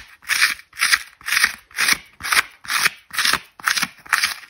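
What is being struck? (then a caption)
Foam ball half. Long red nails scratch and rub the foam face of a dry white foam ball half with an orange outer skin, held in one hand, and small bits flake off. Nine bright, dry rasping strokes follow one another at about two per second, each a brief hissy scrape centered near 2 kHz with no low end. Each stroke stops quickly, leaving short silences between them.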